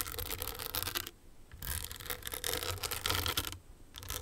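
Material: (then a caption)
Rhinestones. Long nails tap and scratch the crystals on a small, hollow, owl-shaped hard clutch purse covered in blue, green and clear rhinestones on a metal frame. Dense bright scratching and gritty rubbing come in bursts, broken by two brief near-silent pauses, with a low rumble underneath.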